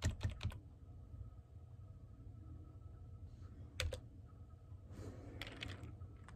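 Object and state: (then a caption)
Plastic computer keyboard. Fingertips with medium-length painted nails type on a full-size black plastic computer keyboard with hollow key caps, seen at desk level. A quick burst of sharp, bright key clicks opens the clip, followed by a lone tap near the middle and a softer flurry of keystrokes toward the end. A steady low hum runs underneath throughout.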